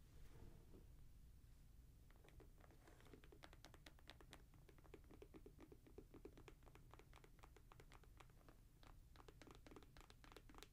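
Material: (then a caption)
Synthetic leather. A grey Jordan Flight 45 high-top sneaker of synthetic leather and mesh with a rubber sole is held in the hand while fingernails tap and scratch its upper. After about two seconds of quiet, rapid, short, bright clicks and scratches begin and continue steadily to the end over a low background rumble.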